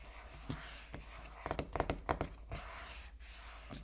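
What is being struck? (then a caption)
Small sealed cardboard box. Fingertips knock and tap on the back of a small sealed cardboard iPhone 13 Pro Max box with dark print, lying on a wooden table while both hands rest on it. About eight dull, soft thuds with a hollow midrange tone and almost no ring, spaced irregularly and bunched together in the middle of the clip.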